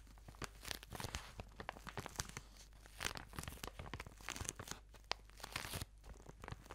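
A plastic-wrapped product tube is crinkled, squeezed and scratched with fingernails close to the microphone. Dense, bright crackling and tearing sounds come in quick, uneven bursts over a faint low hum, with many short, sharp crunches throughout.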